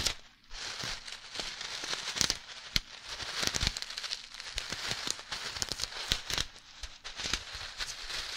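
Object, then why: Plastic zip bag of small beads. A clear plastic zip-lock bag full of tiny red beads is held next to the microphone and squeezed and tapped with long nails and fingertips. The result is close, bright crinkling and crackling with scattered sharp, quick taps and clicks over a soft hiss, with little low end.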